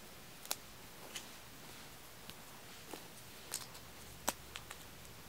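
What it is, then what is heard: Aluminium tealight cups. Fingertips and nails tap the thin metal rims and tops of stacked, unwrapped small aluminium-cup tealights, solid and wax-filled. About eight light, bright ticks sound at irregular intervals, each dying away almost at once, over a quiet, faintly hissing background.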